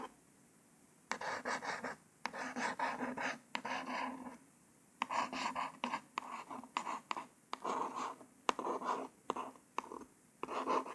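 A long nail tip traces letters across a small white cardboard false nail package card in a scratchy writing motion. The clip has short, dry bursts of bright scratching and rasping, separated by quiet pauses.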